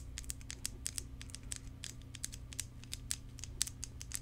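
Long decorated acrylic nails tap and scratch along a long, thin, hollow clear plastic tube or wand with yellow inside, held in both hands in front of the mic. The result is a quick, irregular series of sharp, bright clicks and brief scratches that die away instantly, over a steady low hum.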